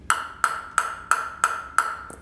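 A table tennis ball, a DHS WTT, is bounced six times on a bare Sunflex LSH Off+ blade made of wood with Supreme Carbon layers, just taken out of its plastic wrap. Each bounce gives a sharp, bright ping around 1.35 kHz that dies away almost at once. The blade proves very stiff and does not vibrate at all.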